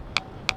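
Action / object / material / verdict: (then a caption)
strike / large granite boulder struck with a rock / granite / ringing. The Ringing Stone on Tiree, a large erratic granite boulder, is struck twice at its cup-mark hollows with another rock. Each hit gives a sharp, bright clink centred near 2.4 kHz, with a faint lower tone lingering briefly. The boulder rings like a bell.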